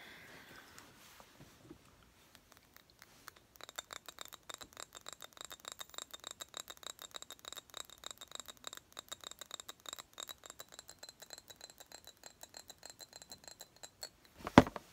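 Long acrylic nails tap and scratch a small pink square glass-like perfume bottle with a cap. After a quiet, faint start, a rapid stream of light, crisp clicks begins at about 3.5 seconds, each with a thin glassy ring. One louder, sharper knock lands near the end.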